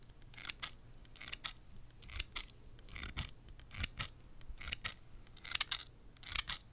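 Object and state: Steel scissors snipping.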